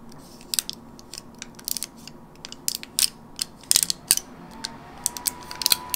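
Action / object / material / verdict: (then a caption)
scrape / plastic and foil gum blister pack / plastic, foil / none. Long nails tap and scratch across the crinkly plastic and foil face of a flat teal gum blister pack held in hand. An irregular series of sharp, bright clicks and crackles rises over a quiet background, each snapping off almost instantly.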